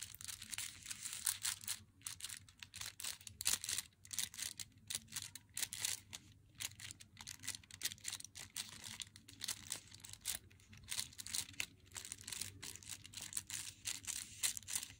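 Long nails tap and scratch the front of an unopened Meiji Black Chocolate bar box, a glossy flat cardboard box held in the hands. Rapid, bright, dry clicks and scratchy crinkling run steadily through the whole clip, each tap dying out almost at once, with little low end.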